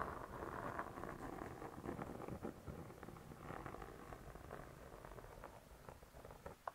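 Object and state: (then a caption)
Spiral-bound cookbook cover scratched and tapped. Long nails scratch and tap the printed cardboard cover of a wire spiral-bound hardcover cookbook lying flat. A steady, soft, muffled scratching runs throughout, broken by quick dull taps, with little high-end brightness and a final sharper tap near the end.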